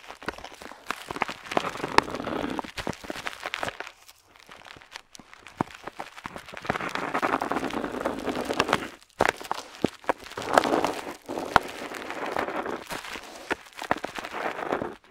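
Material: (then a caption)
Paper. A metal dip pen nib scratches across a flat paper map sheet while drawing wavy lines, making dry, papery scraping strokes with small ticks and crackles. The scratching comes in bursts, with a quieter, softer stretch near the start and brief pauses between passes.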